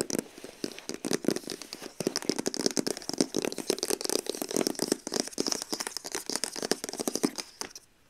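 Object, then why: Printed cardboard box sleeve. Long acrylic nails rapidly scratch and tap along the glossy printed face of a long, hollow cardboard box sleeve for a TYMO Ring, held on the lap. The sound is a dense, fast run of crisp, crinkly scrapes and sharp taps, with a hollow papery body under bright, hissy edges. It fades to near silence in the last half second.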